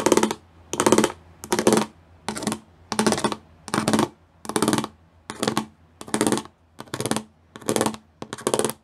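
Long nails tap quickly across the raised studs of a gray plastic studded sheet, heard as twelve short, evenly spaced bursts of rapid, crisp clicking. Each burst is bright and dry with a low-mid body and almost no ring, separated by near-silent pauses.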